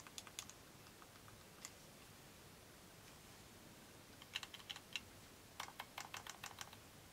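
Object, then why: Plastic handheld game controller. Black-gloved fingertips press and click the buttons of a small, hollow, unwrapped yellow plastic Nintendo Joy-Con controller and handle its shell. The result is quiet, sharp, bright clicks that stop dead, like light typing, scattered at the start and then in two dense bursts over a low, steady background hiss.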